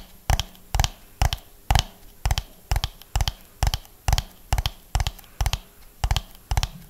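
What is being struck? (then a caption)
Hollow ribbed plastic dome. A medium hollow orange ribbed plastic dome, held in both hands close to the mic, is tapped and scratched with fingernails over its raised ridges. A steady, slow series of short, dry, hollow taps, about two per second, has a low thump with a bright clicky edge and a brief rasp of nail on ridge. Each tap dies away almost at once.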